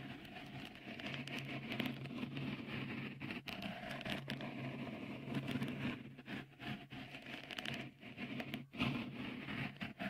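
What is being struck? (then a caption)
Silicone microphone cover. Fingertips scratch and rub a small, hollow, white dimpled cover, likely silicone, fitted over the right microphone capsule of a Tascam recorder. The result is a close, continuous, dense crackling patter with bright scraping texture, over a faint steady low tone, swelling and dipping briefly throughout.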